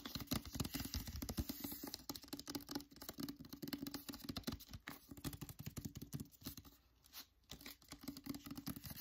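Fingertips and nails tap and scratch the back cover of a solid hardcover copy of "The Secret Letters" in a glossy paper dust jacket. The result is a dense run of quick, dry taps mixed with bright, papery scratching. It briefly goes quieter around the seventh second before picking back up.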